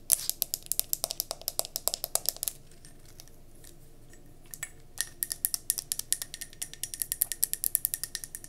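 Long nails tap rapidly on the glass base of a round gold mercury glass candle jar held on its side, producing bright, clicky taps with almost no ring. A fast run of taps stops for about two seconds of near silence, then the tapping resumes and continues to the end.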